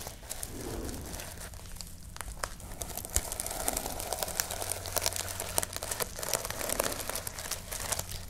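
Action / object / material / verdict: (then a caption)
scrape / sequin-covered notebook cover / plastic sequins / none. Long painted nails scratch and brush across a notebook-sized cover of small plastic reversible sequins on a fabric backing, held in both hands. The result is a steady, crinkly rustle dotted with many sharp, bright clicks, over a faint low hum.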